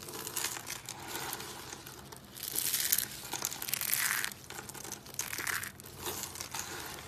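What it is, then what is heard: Dry soap curls crushed by hand. Both hands squeeze and crush a pile of thin, dry, multicolored soap curls on a wooden table, breaking them into small crumbly flakes. A continuous bright, crinkly crunching rises and falls in waves, with louder bursts of crackle partway through. The sound has almost no low end and dies away quickly between squeezes.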